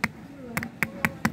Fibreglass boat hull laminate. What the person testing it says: you can hear this bit there's softening up going off over there